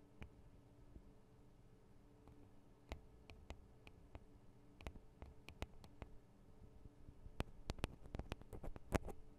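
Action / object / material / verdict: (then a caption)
tap / metal and plastic microphone capsules on a handheld recorder / metal, plastic / none. Long acrylic nails from both hands tap the small hollow metal and plastic microphone capsules of a Tascam DR-40 recorder. The result is quiet, sharp, dry clicks that die away instantly over a low, steady hum, scattered at first and then coming faster and louder toward the end.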